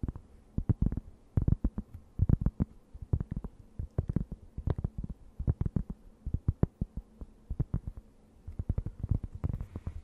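A thin, round, solid and flat cork board is held close to the mic and scratched with long nails. Dozens of quick, dull scratching strokes come in uneven bursts, with a deep, muffled body and very short decay between strokes.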